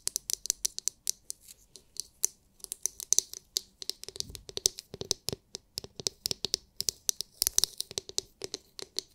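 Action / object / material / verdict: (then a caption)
tap / hard clear plastic massage brush dome / hard plastic / none. Long nails tap rapidly on the hard, clear, glitter-filled plastic dome of a palm-sized oval massage brush. The result is a quick, uneven stream of sharp, bright clicks that stop dead with no ring, with almost nothing in the low end.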